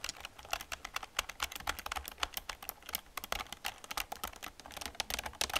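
Fast typing with fingertips and long nails on a black plastic computer keyboard with a hollow casing. It produces a rapid, steady stream of sharp, bright clicks and taps with very little low end. Each click dies away almost instantly.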